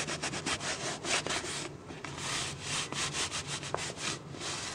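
Fingertips and nails rub and scratch the ribbed sides of an empty, hollow, clear PET plastic water bottle held in the hand. The result is a steady run of bright, hissy scratching strokes in quick rhythmic bursts, with a faint low hum underneath and a few sharp clicks from the nails.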